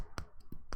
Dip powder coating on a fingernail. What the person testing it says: we know it's cured when we go to tap on the nail and we click and if you hear that clicking sound that means that we're good to go